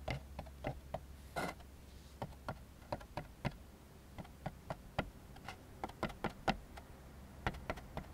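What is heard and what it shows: A white molded-fiber paper plate, turned upside down on a wooden table, is tapped and scratched on its underside with fingertips and short nails. Short, dry clicks and taps come in an irregular run, with a brief brushy scratch early on and a steady low hum underneath.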